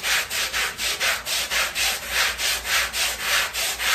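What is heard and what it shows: A long-handled black bristle brush scrubs back and forth across a small, wet, foamy, flat woven fabric rug. Each stroke is a bright, scratchy rasp that swells and fades in a steady rhythm, with almost no low end.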